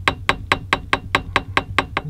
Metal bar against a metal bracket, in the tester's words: That's just this bar tapping against this bracket